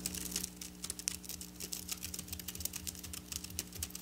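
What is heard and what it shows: Long black nails scratch and tap quickly over silver sequin fabric, making a rapid run of bright, crisp clicks and rustling scrapes. Each hit dies away almost instantly, over a faint steady low hum.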